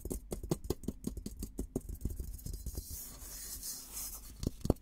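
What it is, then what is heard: Steel military helmet. Fingertips and nails scratch the dome of a hollow, olive-green painted steel military helmet held in both hands. A rapid run of short, dry scratches with low hollow thumps gives way to a steadier, brighter rasping, then ends with a couple of sharper knocks.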